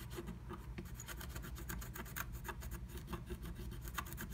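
A wooden stylus scratches dense, rapid strokes into a flat black-coated scratch art sheet, working inside a lightning bolt stencil cutout. The result is a quiet run of short, dry rasping scrapes with bright edges over a steady low background hum.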